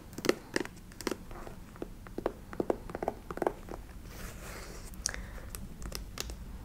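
A black, shiny patent leather ankle boot with a side zipper, empty and held in the hands, is tapped and scratched with long nails on its glossy leather. The result is a series of sharp, dry clicks and brief scratching rasps with a soft hiss between them.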